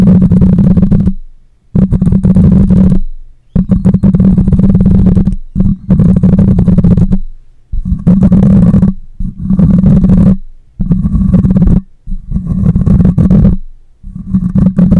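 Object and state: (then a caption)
Metal mesh microphone grille. Long nails scratch the side of a black microphone's metal mesh grille in repeated strokes. Each stroke comes through as a loud, close, low rumbling scrape with a strong hum-like tone just under 200 Hz and little brightness. The strokes arrive as about nine bursts separated by short silences.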